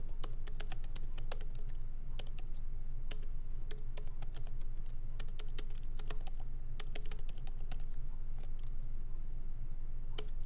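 Both hands type lightly with fingertips on a MacBook Pro laptop keyboard, plastic keycaps set in an aluminum body, resting on a wooden desk. Short, sharp, bright clicks come at an uneven pace over a steady low hum.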